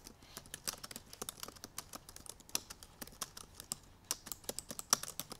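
Long purple nails and fingertips type quickly on the black plastic keys of a silver aluminum MacBook Pro laptop. Around thirty light, bright, clicky taps come in an uneven rapid run, each dying away almost instantly with very little low end.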